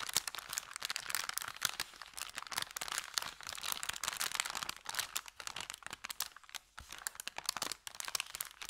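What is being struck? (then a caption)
Thin kraft paper bag. Hands flex, crumple and crinkle an empty, thin kraft paper bakery bag. The result is a dense, continuous stream of bright, crisp crackles and rustles with almost no low end, easing briefly into sparser, quieter crinkles midway before building again.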